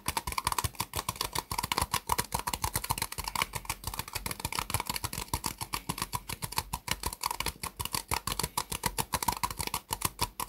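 Long nails and fingertips tap rapidly on the sides of an empty, hollow, white disposable plastic cup sitting upside down on a desk mat. The result is a fast, continuous run of crisp, dry clicks and taps with a hollow tone around 1 kHz and bright tops. Each tap dies away almost instantly.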